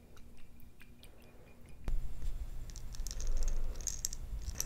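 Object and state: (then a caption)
Jar of perler beads. A glass jar holding plastic perler beads is handled and shaken, giving soft rattling and clinking with bright ticks over a low rumble. The first two seconds are quieter, then a sharp knock sets off louder, busier rattling.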